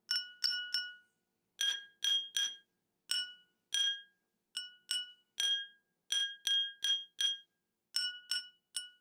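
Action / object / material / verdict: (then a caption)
tap / glass tumbler partly filled with water, tapped with a metal spoon / glass / none. A metal teaspoon held in the fingers taps the rim and side of a small, round, clear, hollow glass tumbler partly filled with water, resting on a wooden table. There are 18 separate bright, ringing clinks in irregular clusters, each with a clear tone near 1.4 kHz and 3 kHz plus a high overtone, fading out in about a fifth of a second.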